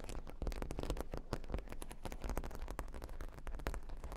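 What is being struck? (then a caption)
Cork board covered with plastic pearl beads. A square cork board covered with plastic faux-pearl beads is scratched with long nails across the beads. The result is a dense run of rapid clicking, scratching taps over a low rumble, with no pause between them.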